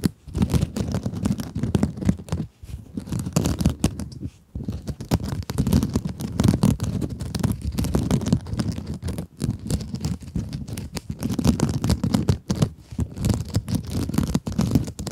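A small pink scrub sponge with glittery mesh is scratched with long acrylic nails. Dense, continuous scratchy rasping runs throughout, mostly low and muffled with a main tone near 220 Hz, and comes in rapid overlapping strokes with a few brief pauses.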